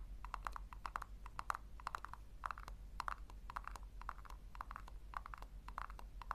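Long nails tap rapidly on the base of a small, hollow pink plastic tub, making a steady run of short, dry, hollow clicks with a mid-pitched knock near 1 kHz. The taps are quiet and die away instantly, over a constant low hum.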